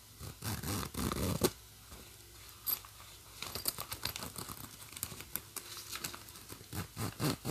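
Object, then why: Nylon bag with plastic coil zipper. Long nails scratch along the black plastic coil zipper teeth of a green nylon bag while fingers move the slider back and forth. The result is a string of quiet, raspy zipping and scratching bursts with brief crinkly texture and short pauses between strokes.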